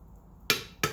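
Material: Wrought iron.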